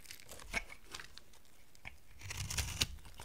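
A dry amber soap bar, a solid brown block, is carved with a utility knife blade as dry flakes fall away. Short, crisp scraping and crunching cuts sound over a faint low rumble, with sharper, brighter slices standing out near the start and again toward the end.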